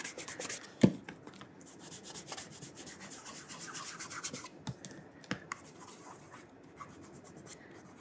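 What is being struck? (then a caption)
Leather dress shoe. A burgundy calf leather oxford is held and turned in the hand while fingertips rub polish along the heel counter and the side of the leather upper. Soft, quiet, bright rubbing strokes run throughout, with a sharper tap near the first second and a few brief clicks around the five-second mark.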